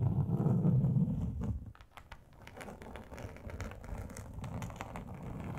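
Long acrylic nail tips scratch and tap across a large, flat, grey textured plastic sheet. A loud, low, rumbling scrape opens the clip, then fades into quieter, rapid, fairly regular ticking and scratching with brief, bright clicks.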